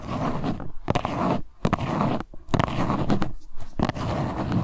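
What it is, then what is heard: Cardboard box being scratched. Long white nails scratch the faces of a small printed LuLuLun Cleansing Balm cardboard box held in both hands. The result is a steady, dry, rasping scrape in repeated strokes, broken by brief pauses and sharp tapping clicks where the nails catch the box.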